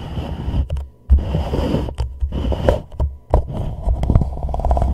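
An empty hollow white plastic reusable cup is held upside down over a microphone, and fingertips and a thumb press, rub and tap its wall and rim. The result is a dull, boomy low scraping and rumbling, with soft crackles and several hollow thumps and taps broken by brief near-silent pauses.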